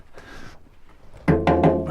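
An old barrel in a mercury mine is knocked four times in quick succession after some faint handling noise, giving short, hollow, resonant knocks with a low boom. The sound shows the barrel is empty.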